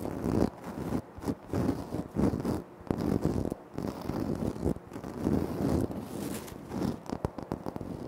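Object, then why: Granite floor tile. Short nails scratch and fingertips tap on a flat, solid, speckled granite floor tile. The result is a dense, gritty scraping with a warm low-mid body, broken by brief dry taps and quick pauses. Faint brighter crackle runs along the top.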